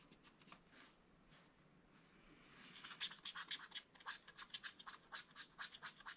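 A wooden stylus scratches fine lines into the black coating of a thin, flat scratch-art page in a spiral-bound book. Faint, soft scratching gives way halfway through to a steady run of short, crisp, bright strokes, each with a high, hissy edge and almost no low end.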